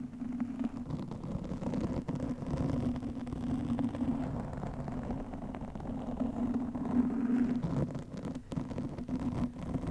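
Long nails scratch a black foam windscreen over a microphone, making a dense, continuous rustling scratch for the whole clip. The sound sits low and muffled, with a steady buzzy band around 260 Hz and almost nothing bright above.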